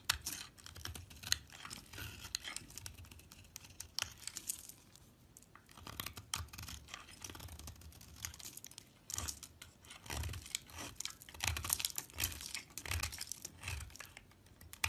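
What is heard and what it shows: A box-cutter blade carves chunks and crumbly shavings off a solid orange bar of soap held in the hand. Dense, bright scraping and crackling cuts come in bursts, with soft low thumps underneath. The sound stays fairly quiet, with each cut stopping dead and no ring.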